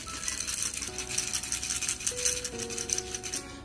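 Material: Dried beans.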